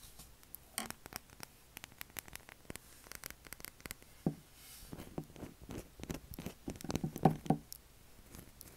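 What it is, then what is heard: Bar of soap scratched. Fingernails scratch and tap a pale blue solid bar of soap with a carved logo, leaving white flakes on its surface. Quiet, irregular, dry scratches and soft, dull ticks patter along at about four per second, with a few louder taps near the middle and end. Each sound stops almost instantly with no ring.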